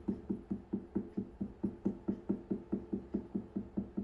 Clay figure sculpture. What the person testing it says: 목탁 소리 나는 이유는 안에가 비어 있어요